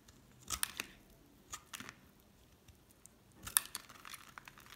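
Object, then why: Bar soap and metal blade. A solid cream bar soap is held in the hand and shaved into thin strips with a metal utility knife blade. Quiet, crisp scraping and scratching bursts of cutting come in uneven clusters, bright and high with almost no low end. Each stroke stops short with no ring.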